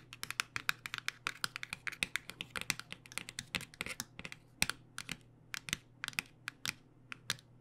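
Long nails tap rapidly on the front and side edge of a cardboard box of acrylic paint pens held flat. A quick, uneven run of crisp, bright clicks follows, each dying away almost instantly over a faint steady low hum.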